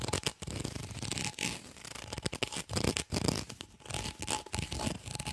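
Fingernails scratch along the corrugations of an empty, white, ribbed, hollow plastic tube held close to the mic. The result is a fast, dry rasping made of rapid clicky ridges, with bright high hiss and a low rumble. The bursts come in uneven strokes separated by brief pauses.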